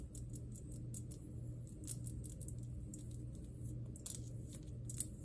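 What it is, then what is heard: Glass plasma globe tapped with long nails. Long green nails tap and scratch across the surface of a large, hollow glass plasma globe, fingers spread over the glass. The result is a run of sharp, brief clicks with bright high-frequency ticks, heard over a steady low hum.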